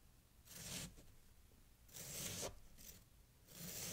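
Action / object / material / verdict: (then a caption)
scrape / pile of packed snow / snow / none. A knife blade is drawn sideways through a solid mound of packed snow and scraped along it while one hand holds the mound. Three bright, crisp scraping strokes rise and fade over a faint low hum.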